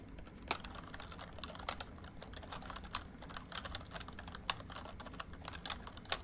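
Fingertips of both hands type fast on a full-size plastic MSI backlit membrane keyboard with a rainbow backlight, lying flat on a desk. Dense, quick key taps blend into a steady clatter over a low, dull rumble, and a few sharper, brighter clicks stand out above the rest. Each tap is short and dies away almost at once.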